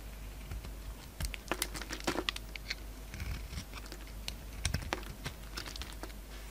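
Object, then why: Soap bar scraped with a blade. A solid peach-colored bar of soap with a red coating, held in the palm, is shaved and scraped with a utility-knife blade. Short, dry, crisp scraping and crinkly shaving sounds come in quick irregular bursts over a steady low hum, each stopping almost instantly.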